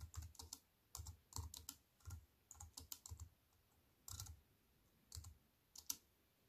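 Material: Plastic.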